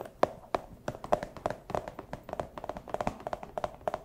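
A small, empty, clear plastic pouch is crinkled and tapped with fursuit paw claws. It makes a rapid, irregular run of about 25 short, dry clicks with a light crinkle, centered near 580 Hz, each dying away almost instantly.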